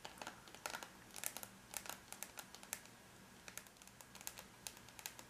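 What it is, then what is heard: Aluminium laptop lid. Long bare natural nails of both hands tap rapidly on a closed silver aluminum laptop lid, its logo visible between the hands, a flat, thin, hollow-backed metal shell. A quick, uneven run of light, bright clicking taps is heard, each one dying away almost instantly, over a faint low background hum.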